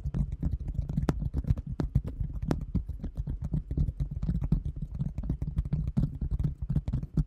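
Long nails tap quickly and continuously on a large, round, thin translucent plastic container lid held in front of the microphone. The taps are short, dull and low, with soft clicks and no ringing, forming a steady, dense pattering rhythm.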